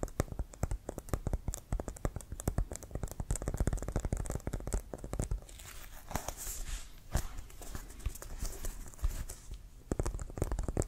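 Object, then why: Inflated composite leather American football. A full-size, inflated, hollow brown pebbled composite leather American football with a white stripe is held in the hands and tapped and scratched with fingertips and nails. Rapid, dull, low hollow thuds patter almost continuously with no ring. A brief stretch of brighter scratchy rustling comes in midway before the tapping resumes.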